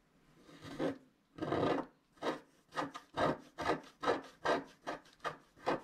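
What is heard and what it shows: A wooden stylus scratches across a flat black wax-coated scratch-art card near the bottom of the sheet, with fingers spread on the sheet. The result is a series of short, raspy scraping strokes that grow quicker and more regular, each a dry midrange rub with a bright edge and almost no ring.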